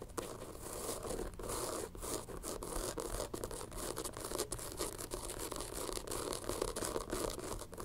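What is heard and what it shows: Long nails scratch and tap the tan textured rubber sole of a white-rimmed sneaker, producing a dense run of dry, rasping scrapes mixed with quick, dull taps. The bright scratching noise is steady throughout, with short, sharp accents from the taps.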